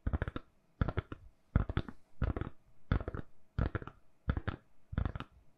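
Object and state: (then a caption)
Silicone phone case tapped with nails. Long nails tap and scratch a solid, hand-sized, lilac silicone-covered phone case on a phone. Seven separate bursts of quick, dry taps come at an uneven pace, each with soft low thumps and bright, clicky scratches that die away almost instantly.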